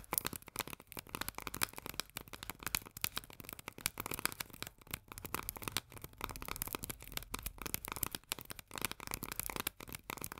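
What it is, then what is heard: Tin can of corn. Long nails tap rapidly across the paper label on the body of a small, full steel can of corn lying on its side. The result is a dense, continuous stream of quick, dry, bright clicks that die away instantly, with little low end.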